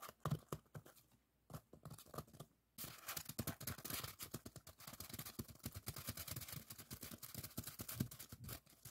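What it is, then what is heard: Styrofoam block. Fingertips and nails tap and scratch the surface of a long, solid white expanded polystyrene bar lying on a table. Soft, dull taps come first with short pauses between them. After about three seconds, a steady run of dry, squeaky scratching begins, bright and hissy over quick low knocks, and continues to the end.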